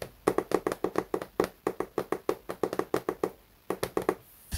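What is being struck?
Hardcover paper book.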